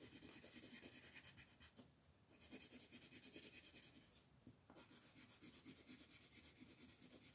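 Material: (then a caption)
Paper. A gold wooden colored pencil rubs vigorously back and forth across a flat white paper mandala coloring page held by fingertips. The result is a fast, steady run of bright, scratchy strokes, with two brief quieter pauses before the rubbing resumes.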